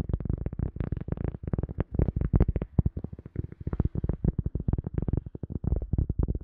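A cork object is tapped in a quick, steady stream of soft, dull taps. Each tap is a short, low thud with a brief muted click that dies away almost instantly, leaving a muffled, woody patter.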